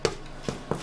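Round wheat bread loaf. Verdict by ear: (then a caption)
Baked. A large 2 kg round wheat loaf, just out of the oven after 45 minutes, is tapped three times on its underside. Each tap gives a short, dull, hollow knock centred around 440 Hz with almost no ring. The hollow sound shows the bread is baked through.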